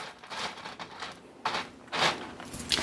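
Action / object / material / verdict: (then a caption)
shake / baked chicken crackers / baked chicken / crispy. Crackers made from chicken "noodles", just taken out of the air fryer, are handled, giving dry crackling and crunching bursts that are bright and high. The crackle is crispy, showing the crackers are baked dry and crisp.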